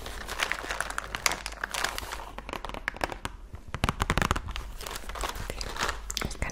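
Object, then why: Cardboard biscuit box. Long nails rapidly tap and scratch the sides and front of a full cardboard Oreo cookie box held up close. The result is a dense run of quick, dry clicks and crinkly scratching with bright, crisp edges and almost no ring.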